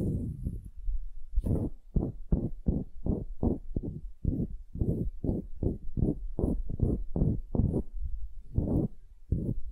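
Long nails scratch the lower end-grain face of a solid, pale wooden cube held upright in both hands. Steady, repeated rasping strokes come in short bursts, each a dull, low-heavy scrape with a faint bright hiss on top. The strokes are dry and stop abruptly, with almost no ring after each one.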